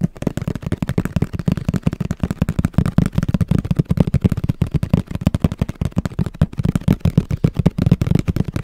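Fingertips and nails tap quickly on the spec-printed side of a hollow black and orange printed cardboard camera box held in front of the microphone. The result is a rapid, continuous patter of short, dull, hollow knocks, deep and low-pitched, with almost no bright high end and no ring after each tap.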